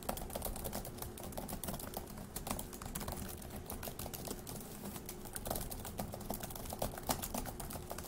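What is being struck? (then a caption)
Plastic laptop keyboard. Both hands type rapidly with their fingertips on a dark laptop keyboard with plastic keys resting on a wooden desk. A dense, continuous stream of light, clicky keystrokes with bright, crisp edges rides over a low, steady hum. Each click decays almost instantly, keeping the texture quick and busy throughout.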